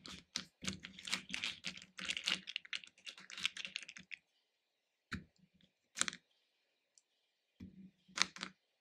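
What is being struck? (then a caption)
Hard-shelled candy pieces in a plastic bowl. Fingertips stir loose red, orange and yellow hard-shelled candies in a small pink plastic bowl, picking pieces up and dropping them back in. A dense run of bright, dry clicking and rattling fills the first four seconds. Then short, separate bursts of clatter follow as pieces fall back into the bowl, each dying away almost instantly.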